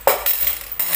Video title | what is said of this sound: LUCKY PINEAPPLE NGAYONG BAGONG TAON... SUSWERTIHEN KA TALAGA SA PERA | tingnan nyo ang sarap ng tunog ng barya